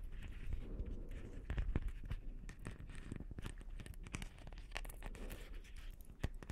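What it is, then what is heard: Beaded plastic ornament ball. Fingertips and long nails scratch and tap over the beads of a palm-sized, hollow, blue beaded plastic Christmas ball ornament. The result is a steady, dense crackle of quick, dry clicks and rustling scrapes with low weight. Scattered sharper taps stand out now and then.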